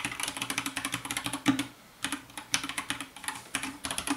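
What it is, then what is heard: Plastic mechanical keyboard. Fast two-handed fingertip typing on a compact 60% white plastic mechanical keyboard with a hollow case, lit by purple light. About 30 quick, bright, clacky keystrokes come in bursts with a brief pause in the middle, each carrying a hollow, mid-low thock and dying away almost at once.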